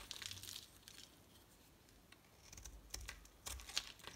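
A solid pink and white striped bar of soap is shaved with a utility knife blade until only a small piece is left. Quiet, bright, crinkly scraping strokes come in uneven bursts, with a few sharper clicks near the end.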